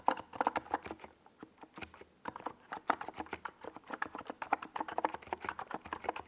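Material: Plastic.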